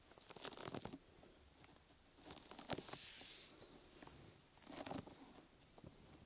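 Long nails scratch the top and side of a brown, open-weave, sticky foam rubber grip mat draped over a microphone. The result is close, crackly, crinkling scrapes with a bright, hissy edge. Two louder rasping bursts stand out against quieter, steady scratching in between.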